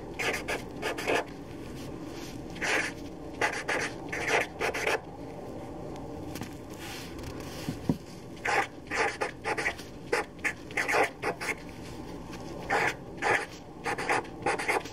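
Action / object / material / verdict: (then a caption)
scrape / felt-tip marker on a paper sheet / paper / none. A black permanent felt-tip marker writes names on a fresh white sheet of paper lying on a table. The felt tip rubs and scratches across the paper in short, bright strokes, coming in bursts with quiet pauses between them.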